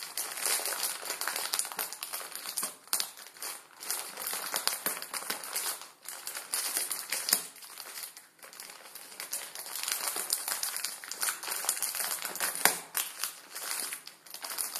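A plastic film ramen noodle packet resting on a wooden table is pinched and crinkled with the fingertips. It makes a steady stream of dense, bright crinkles and sharp crackles with no low end. There are a few short dips between bursts and a louder snap near the end.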